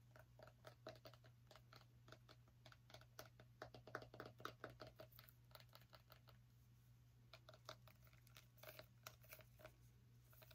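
Long acrylic nails tap quickly on the hard rind of a small, whole orange pumpkin held beside the microphone. The result is a quiet, irregular stream of short, dry clicks, each dying away almost at once, over a steady low hum.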